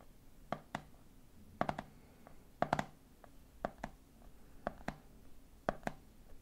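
Fingertips tap the top of the red plastic lid on a medium clear plastic jar full of peanuts, then fingers tap the side of the jar. The taps come in about six quick clusters of two or three, dry and hollow with a mid-range knock. Each tap dies away almost at once into a quiet background.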